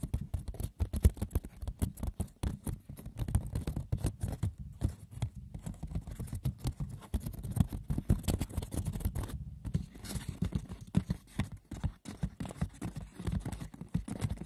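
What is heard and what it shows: Fingers scratch and tap the textured woven surface of a wicker basket with no talking. The result is a dense, continuous patter of light, dry clicks and rough scratches with very little ring, its weight sitting mostly in the low end, with one brief pause midway.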